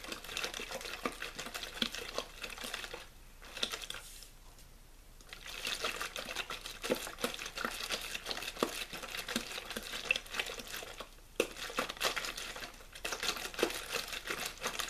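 A hollow, clear plastic water bottle with a blue label is rapidly squeezed and crinkled with the fingers. It makes dense, bright crackling and popping with short sharp snaps. The crinkling quiets briefly in a couple of short pauses before resuming.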